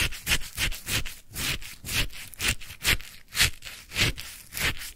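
A wooden stick stirs and scrapes through a white paper cup full of icy lemon shaved sherbet topped with a lemon slice. About fourteen crunchy, gritty scrapes come in an uneven rhythm, each a bright rasp centered around 2–3 kHz with a soft low thump underneath. Each ends quickly with no ring.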